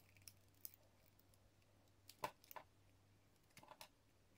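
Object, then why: Bar of soap cut with a metal blade. A metal utility blade slices thin strips off a hand-sized, solid translucent yellow soap bar embossed with a "00 GRS" mark, held in fingers with pink nails. Quiet, crisp scraping clicks come in short separate bursts, with a brighter cut near the middle, over a faint steady low hum.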